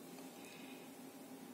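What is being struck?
Nothing is struck.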